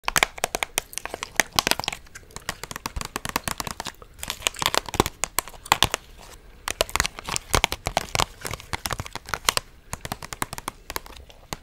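Long orange nails tap and scratch a clear plastic clamshell blister pack holding a small purple toy on a cardboard backing card, held close to the microphone. Dense, bright crinkly and crackly clicks come in rapid clusters with short quiet gaps, each snap dying away almost instantly.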